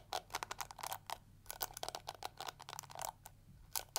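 Long nails scratch and flick through the yellow plastic bristles of a small pink and yellow plastic detangling hair brush held sideways. The result is a rapid, irregular series of short, crisp, bright clicks and scratchy rasps over a faint low hum. Each flick is sharp and dies away almost at once.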